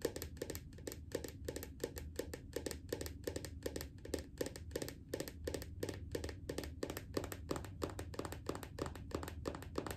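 Steady, quick tapping on a bathroom lotion bottle, with short dry taps that stop almost at once. Each has a low hollow body around the midrange and a faint bright click on top. A soft low rumble runs underneath.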